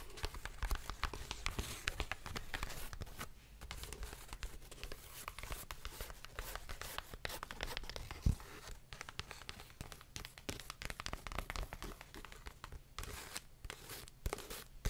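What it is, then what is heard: Paperback book. Long nails tap and scratch the glossy cover and edges of a paperback book held upright and sideways, making a steady run of quick, dry clicks and raspy scrapes. Short papery tearing-like textures come through, with sharper taps near 8 seconds and again around 14 seconds.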